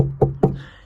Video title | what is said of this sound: May 12, 2020 | you can hear that there's a little bit of an air space in there that that sound resonates through